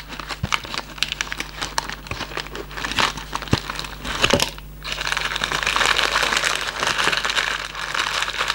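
A hollow Raffaello cardboard candy box is held and squeezed in the hand while its flaps are rubbed, giving a steady run of bright, dry crinkling and crackling. Quick, brittle crackles in the first half give way after a brief lull near the fifth second to a denser, continuous rustle over a faint low hum.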